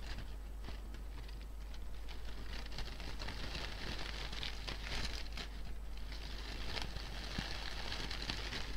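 A medium-sized artificial fabric flower bouquet of fake pink-and-white flowers with green leaves, possibly fabric or plastic, is gripped by two hands with painted nails that crinkle and rustle the petals and leaves. The result is a continuous, dense crinkling and crackling rustle with bright, crisp texture at a steady level, over a constant low hum.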